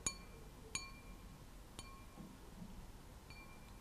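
A glass object is tapped, giving a few sparse, bright clinks with high ringing tones that fade quickly. The taps are quiet and spaced irregularly, with faint low background noise between them.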